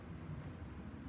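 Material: Nothing is struck.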